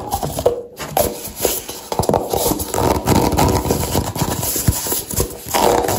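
A nested stack of empty, hollow brown paper cups is held in the hands and tapped and scratched with long dark-painted nails. The result is a fast run of dry, papery taps and scrapes with a hollow midrange ring. Occasional duller knocks sound like clip-clop.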